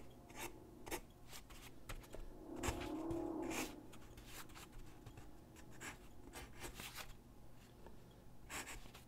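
A graphite pencil held in the hand scratches across a large white sheet of drawing paper lying flat on a wooden desk while sketching figure drawings. Quiet, irregular scratchy strokes with bright, hissy edges repeat throughout, with one longer, louder rubbing stroke near the middle carrying a low, hollow tone.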